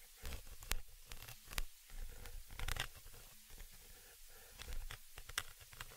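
A thin, dark, pointed tool scratches across the hollow, round metal mesh grille of a small stereo microphone's upper capsule. It makes close, rough scraping and tearing rustles in irregular bursts with sharp, bright crackles over a heavy low rumble.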